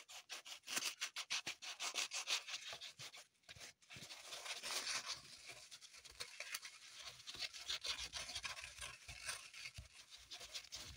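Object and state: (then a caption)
Green floral foam block being scratched. Long pointed nails dig and scratch into an unwrapped green floral foam brick, with crumbs falling onto the table. Quick, bright, dry scratching strokes come in a fast uneven rhythm, pause briefly near the four-second mark, then turn into a denser, continuous crumbly scraping.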